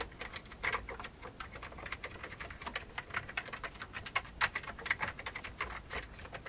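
Both hands type with their fingertips on a full-size vintage beige plastic computer keyboard with hollow keycaps, resting on a desk. A quick, uneven run of short, dry, hollow clacks fills the clip, with bright tops and little low end. Each keystroke cuts off almost at once.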